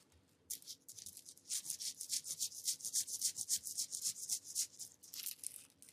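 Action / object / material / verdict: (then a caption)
scrape / woven bamboo openwork mat / bamboo / none. A flexible, hand-span-sized woven bamboo flower-pattern mat, a flat openwork of small bamboo or wood petal pieces, is held and shaken near the microphone, then rubbed and scratched with the fingertips. After a near-silent half second, fast, fairly regular bursts of bright, dry clattering and scratching follow one another at about four per second. There is almost no low end and each burst dies away quickly.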